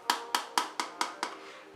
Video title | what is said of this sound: SE-234-ARGB - ID-COOLING - Best Budget Air Cooler | when I tap on it, It has this really hollow kind of sound